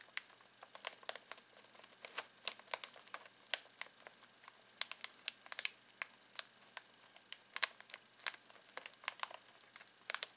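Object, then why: Foil-plastic snack bag. Fingertips scratch and crinkle a full foil-plastic snack bag of pistachios. About thirty sharp, bright crackles and ticks scatter irregularly over a quiet hiss, with almost no low end. Each one snaps off at once, with no ring.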